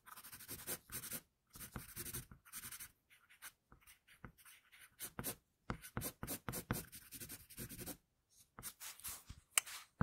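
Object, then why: Graphite pencil on a sheet of drawing paper. An HB wooden pencil with a floral pattern, held by the fingertips, scratches across a flat sheet of drawing paper bearing a pencil sketch of a girl, with a protective paper sheet under the hand. Bursts of dry, bright scratching come in uneven drawing strokes separated by short pauses, each with a grainy, papery texture and no ring.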